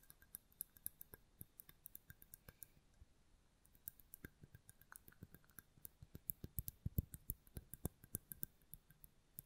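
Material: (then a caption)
Glass. Long fingernail tips rapidly tap a hollow white mosaic-glass votive candle holder held in the hand with a lit candle inside. Dozens of quiet, dry, clicky taps ring only briefly, with a brief pause near the middle before the tapping resumes a little louder and faster.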